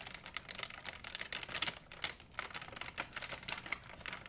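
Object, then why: Plastic shopping bag. An empty white plastic shopping bag is grabbed and crumpled by hands, producing a steady run of quiet, sharp crinkles and crackles. The sound is bright and high, with almost no low end, and each crackle stops almost instantly.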